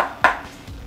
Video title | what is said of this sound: review AK 104 PMC B EL | Ça sonne plus plastique. Ah non, c'est en métal.